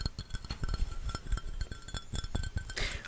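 A hollow white ceramic mug, cupped in both hands, is tapped quickly with fingertips and nails. Rapid light taps combine soft low thuds with bright, short clinks that die away almost at once.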